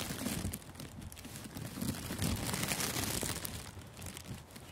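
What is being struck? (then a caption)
Thin clear plastic gift wrap film. Thin, clear, crinkly plastic gift wrap loosely covering a furry-windscreened microphone outdoors is squeezed and crumpled by fingertips. The result is a continuous, dense crackle of bright, sharp crinkles over low, muffled rustling thumps, swelling and easing in loudness throughout.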